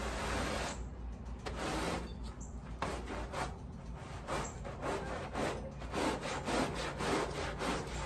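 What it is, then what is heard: Wet woven rug being scrubbed. A wet, foamy, patterned woven pile area rug lying on a plastic sheet is scrubbed with a wooden-handled black bristle push brush. Repeated broadband bristle strokes rasp and swish back and forth at an uneven pace, with bright, hissing bursts on each pass. A steady low rumble runs underneath throughout.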